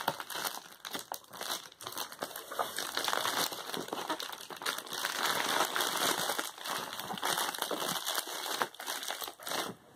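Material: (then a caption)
Plastic. A closed Amazon Prime plastic bubble poly mailer resting on a cloth is pressed, rubbed and crumpled with fingertips and palms. The result is a dense, continuous bright crinkling and crackling, with almost no low end. The sound swells and dips over about ten seconds.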